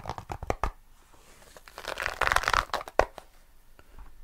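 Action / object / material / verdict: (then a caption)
scrape / small tweed-covered zippered case / fabric / none. A small, hollow grey herringbone tweed zippered nail clipper case is scratched and rubbed with fingertips and nails right in front of the mic. Quick, dry scratching taps at the start give way to a denser, brighter rush of fabric rubbing and crinkling in the middle, with one sharper scratch near the end before it fades to soft, sparse brushing.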